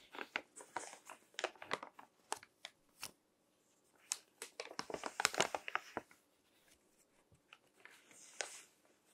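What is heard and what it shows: Fingertips flip the thin text pages of a crinkled paper magazine lying on a table, crinkling the paper. Short, crisp, bright rustles and crackles come in quick clusters, with a brief pause in the middle and softer, sparser crinkles toward the end.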